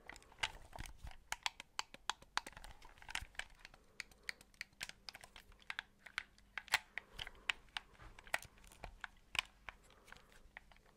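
A white, hollow plastic Xbox 360-style controller is held in both hands close to the mic while fingertips tap its shell and press and click its buttons. The result is a quick, irregular run of sharp, bright plastic ticks and clicks that die away almost instantly. A faint low hum sits underneath from about four seconds on.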